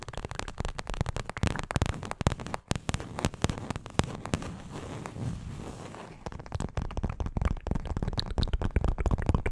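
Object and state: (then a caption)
Paperboard milk carton. A small printed paperboard milk carton, hollow, is held in both hands close to the microphone and tapped and scratched with long acrylic nails. Dense, crackly taps and scratches with a low, hollow body run throughout. A quieter stretch of softer scratching sits in the middle before the sharper tapping returns.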